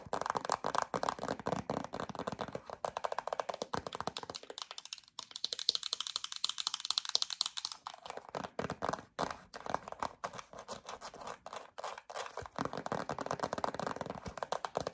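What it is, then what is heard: Plastic hand cream tube. A yellow plastic hand cream tube with a black cap is tapped and scratched with long acrylic nails. The result is a steady run of quick, dry clicks and crinkly scratching. Midway through, a brighter, hissier scrape briefly replaces the tapping.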